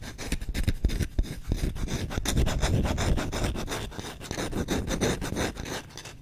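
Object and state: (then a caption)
Wooden spoon scratched. Short nails and fingertips rapidly rub and scratch the bowl of a solid wooden spoon, making a fast, dense run of dry scraping strokes. The strokes are heavy in the low end with a faint bright rasp, swelling in the middle and easing toward the end.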